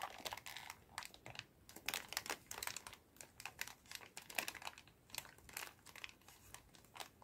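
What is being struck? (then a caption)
Plastic bag filled with cotton swabs. A clear plastic bag full of cotton swabs is shaken and squeezed by hand, giving a steady run of quiet, bright crinkles and light rattling. The sharp, short bursts come in quick irregular clusters with almost no low end.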